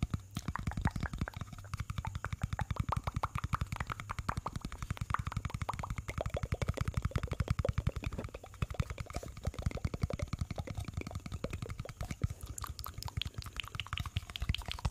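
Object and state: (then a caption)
Plastic cosmetic jar. Fingernails tap and scratch a small, hollow pink plastic cosmetic jar held close to the microphone. The result is a rapid, steady stream of short, dry taps with a hollow low thump, each dying away almost instantly, mixed with faint scratching.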